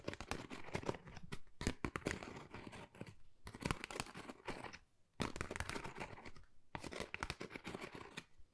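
Long nails scratch across a flat, pale pink, pebble-textured cardboard Dior folder that is thin and hollow. Dense, crackly, rasping scratches come in bursts, separated by brief near-silent pauses, with a dull hollow body under the bright scraping texture.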